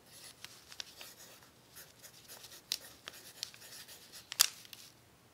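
The graphite tip of an orange pencil writes continuously across a flat sheet of crumpled, crinkled brown kraft paper, while the other hand rests on an open book. The result is a quiet, bright, dry scratching texture, broken by several sharp, short crackles as the crinkles in the paper catch under the pencil.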